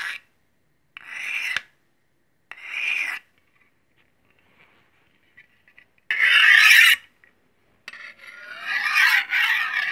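A large solid steel chef's knife, held at an angle, has its blade scraped along a steel honing rod in five separate strokes. Each stroke makes a bright, rasping metallic scrape centred around 1.7 kHz, with quiet pauses between them. The last two strokes are longer and louder than the rest.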